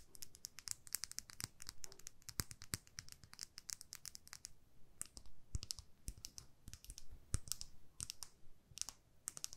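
Long nails tap a small plastic lip gloss tube filled with pink gloss. The result is a quiet, rapid, irregular patter of short, bright clicks, each ending almost instantly, with soft low rumble underneath.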